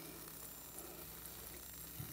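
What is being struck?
Nothing is struck.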